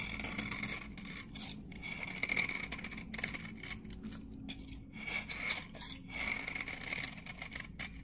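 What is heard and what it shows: A metal knife blade scrapes along the surface of a dry, solid glycerin soap bar from 1978, held in the hand, and flakes collect on the blade. Bright, dry, rasping scrapes repeat in quick strokes, with a faint tone around 2.3 kHz over a low steady hum.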